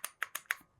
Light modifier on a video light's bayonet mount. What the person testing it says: You can even hear the attachments rattling if you just shake it a little bit, because it's not securely tight.